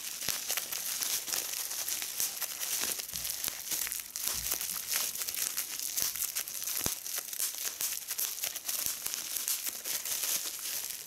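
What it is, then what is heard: Plastic bubble wrap. A small hollow piece of clear, air-filled plastic bubble wrap is held in both hands while its bubbles are squeezed and popped between fingertips with long red nails, a larger sheet of bubble wrap lying untouched beside it. A steady, bright crinkling of plastic runs throughout, dotted with many sharp, short pops that stand out as quick clicks. There is almost no low end, and each pop dies away almost instantly.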